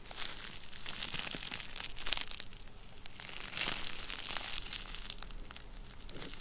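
A small sheet of clear plastic bubble wrap, rolled into a tube and held in both hands, is twisted, squeezed and crinkled with the fingertips, popping and crunching its air bubbles. A steady, dense crackle of bright, crisp crinkles runs throughout, broken by sharp pops that stand out around the two-second and three-and-a-half-second marks.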